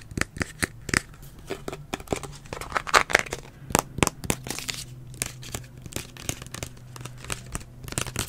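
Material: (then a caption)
Plastic. A hollow, medium green plastic detangler spray bottle with a blue plastic spray nozzle is held in the hand while fingernails tap and scratch its body and nozzle. Quick, dry clicks and crinkly scratches come in an uneven stream, with short, bright transients over a faint low hum.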